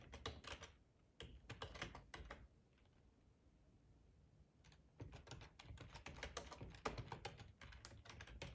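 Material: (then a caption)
Plastic. Fingertips of both hands type on a black plastic full-size ergonomic split keyboard resting on a cloth tablecloth. Bursts of quick, irregular key clicks with soft, low thuds and bright, short ticks give way to a quiet pause of about two seconds in the middle. The typing then resumes and runs steadily to the end.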